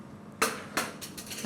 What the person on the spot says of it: vas-y casse écoute comme ça craque